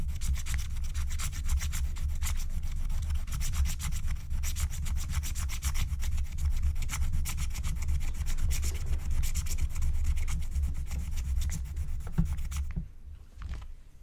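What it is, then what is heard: Scratch-art paper being scraped. A wooden stylus rubs and scratches the coating off a thin black-coated scratch-art card lying flat, in dense, rapid strokes. The steady, bright scratching runs with a low rumble underneath for about 12.5 seconds, then drops to a quieter stretch with only a few faint strokes.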